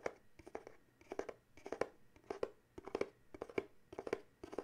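A small paperboard coffee mug gift box is held in the hands and turned while fingernails tap and scratch its sides. Clusters of quick, dry taps with short papery scratches stand out, centered around a hollow tone near 490 Hz. They come in bursts with brief pauses between them.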